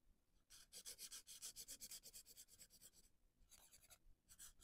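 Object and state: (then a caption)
Felt-tip marker coloring on paper. A hand with dark painted nails rubs a felt-tip marker back and forth across a printed paper coloring page lying flat on a board on a wooden table. Rapid, quiet, bright scratchy strokes come about four per second, with a brief pause before they resume.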